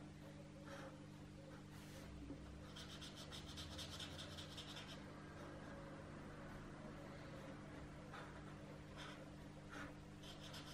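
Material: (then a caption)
Paper. A hand colors shapes on a thin paper page printed with a geometric doodle pattern in an open adult coloring book lying flat, using a white felt-tip marker with a green cap in short strokes. The quiet, continuous rubbing and scratching of the marker tip on the paper comes with occasional brighter scratchy bursts over a steady low hum.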